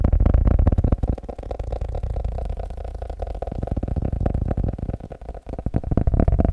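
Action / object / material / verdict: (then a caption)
tap / paper notebook / paper / none. A blue paper notebook is tapped rapidly, producing a dense stream of dull, low thuds with almost no bright content. The taps are loud at first, grow softer and more uneven through the middle, briefly drop away, then return louder at the end.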